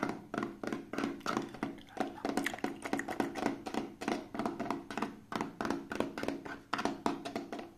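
Fingertips and short nails rub and scratch an elongated, hand-length, green translucent hollow plastic case that appears empty. About 39 quick, dry taps and scratches come in a steady rapid stream, each with a hollow mid-pitched tone that dies away almost at once.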